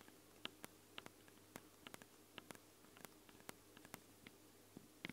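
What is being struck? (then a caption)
Small knurled metal microphone capsules on a handheld recorder. Long blue nails tap and scratch the ridged metal sides of two small hollow, knurled metal microphone capsules with red rings on a handheld Tascam recorder. Eighteen quiet, sharp clicks stand out clearly against a low background, each dying away almost instantly. The taps sound bright and metallic, with a tone near 3 kHz, and faint scratching runs between them.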